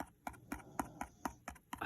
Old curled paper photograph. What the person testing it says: if you tap it and it sounds hollow